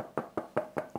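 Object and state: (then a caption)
Weight-relieved solid-body guitar. Five knocks on the back of a weight-relieved, not fully chambered Les Paul solid-body electric guitar with a wooden body. Each knock gives a short, hollow, mid-pitched resonance centered around 600 Hz. The knocks die away quickly, and their tone reveals the weight relief.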